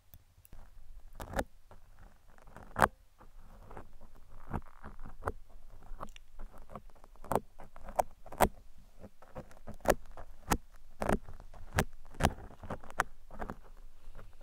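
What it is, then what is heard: Foam microphone windscreen scratched with metal picks. Thin metal pick tools, held in hands with long red nails, scratch and poke a large black open-cell foam microphone windscreen that is soft and porous. Soft, dense rustling scratches run throughout over a low rumble, broken by many sharp, bright clicks and pokes that stop almost at once.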